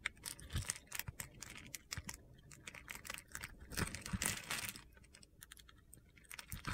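A solid yellow oval bar of soap held in the palm has its grid-scored surface scraped with a metal utility blade, and crumbly cubes fall off. Dense, crisp crunching and scratching clicks come in quick bursts, with a louder, busier stretch of gritty scraping around the middle.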